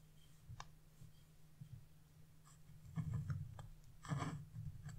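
A flat wood-carving chisel scrapes the black wax coating off a scratch-art coloring page with a bird and rider design, leaving flakes of coating behind. Quiet, dry scraping strokes come in short bursts, with a low steady hum underneath. The rasping grows louder and denser in two stronger passes toward the end.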